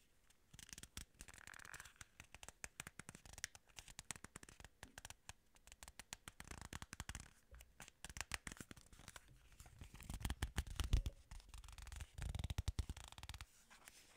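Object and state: Plastic remote control.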